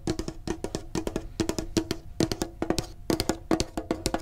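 Fingertips tap rapidly on a medium, printed, hollow metal Pokemon card tin in quick bursts. Each tap gives a short, dry knock with a faint hollow ring around 320 Hz that dies out almost at once.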